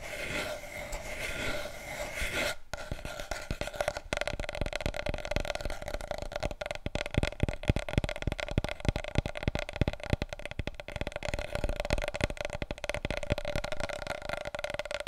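Fingers rub and nails scratch on a wide, hollow, empty cardboard paper roll tube held upright. A steady scraping rustle gives way to rapid, dense tapping with dull, hollow thumps and a faint ringing tone from the tube.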